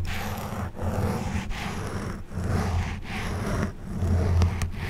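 An orange plastic back scratcher, held from above, is repeatedly scratched and rubbed across a black foam windscreen on a silver condenser microphone. The result is a steady, heavy, low rumbling scrape broken by brief dips between strokes, with faint brighter scratchy detail on top.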